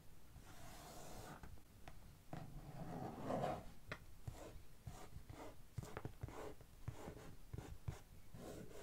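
Long fingernails of one hand scratch across the top of a medium, closed, hollow brown corrugated cardboard box. The result is a dry, hollow rasping and rubbing, broken by short, sharp ticks as the nails catch the surface.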